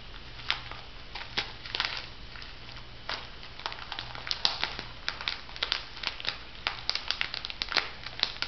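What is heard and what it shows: A small, flat, printed plastic-foil sheet mask sachet with a pig design, hollow and filled with a soft mask, is held and crinkled by fingertips with long manicured nails. Bright, sharp crinkles and scratches come in quick, irregular bursts over a faint, steady low hum.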